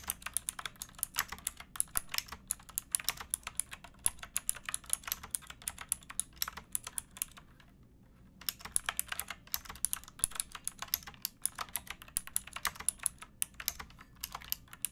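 Fingertips and nails type steadily on a pink backlit mechanical keyboard with plastic keycaps, producing a dense stream of bright, crisp clicks with very short ring. The clatter runs continuously, with a brief pause around the middle before resuming.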